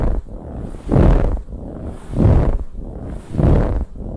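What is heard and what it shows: Long nails scratch a large, soft, dark brown pillow with a ribbed, textured fabric cover, first across the center and then along the sides. The result is a dull, low, muffled rasping that swells into three louder strokes over a steady softer scratching.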